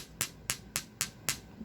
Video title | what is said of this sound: PINOY,IBANG KLASI MUTYA GINISANG TAHONG NAKITA NYA SA PAG LUTO NYA GRABE TALAGA SYA | Iba ang tunog nito. Bato.